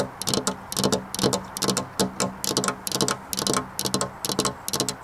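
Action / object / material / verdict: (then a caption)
tap / glass window pane / glass / none. Long black nails, fingers spread, tap on a flat glass window pane in quick, uneven bursts of bright clicking. Each burst is a short cluster of sharp, dry ticks with a faint glassy tone, repeating steadily throughout with almost no ring between taps.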